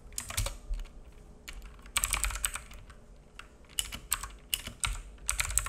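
A black full-size mechanical keyboard with plastic keycaps and a hollow case sits on a wooden desk and is typed on with the fingertips of both hands. Quick clusters of bright, clacky key taps come in irregular bursts with short pauses between them. Each tap has a dull low thud under a high plastic click.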